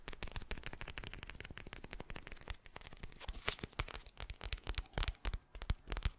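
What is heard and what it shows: A soft, palm-sized teal eye mask of clear plastic filled with gel beads is held close to the mic and tapped and scratched with fingertips and nails. Dense, rapid crinkly taps and scratches run throughout, growing sparser and sharper toward the end with bright, crisp clicks.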